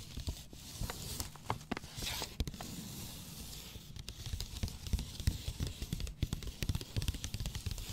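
A long cardboard box wrapped in brown kraft paper is held in one hand while long nails and fingertips tap and scratch across the wrapped surface. Quick, dry taps give soft low thumps, mixed with papery crackle and brighter scratching bursts that come and go. The result is a steady stream of short, close tapping and rustling.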